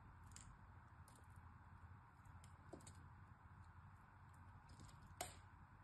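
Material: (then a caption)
Soap. A utility knife blade shaves and scrapes the top edge of a solid, hand-sized, orange-and-white striped bar of soap held in the fingers. Faint, brief scraping ticks sit over a quiet low rumble, with a sharper, brighter click near the end that dies away almost at once.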